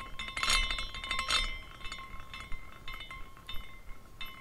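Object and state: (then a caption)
Glass carousel figurine clinking. A small decorative glass carousel with hanging glass horses and an iridescent base is spun by hand, so the horses swing and clink against the glass posts and each other. The result is a bright, chime-like tinkling with ringing tones near 1 kHz and 2 kHz. Two louder bursts come early, followed by softer, irregular clinks that fade quickly.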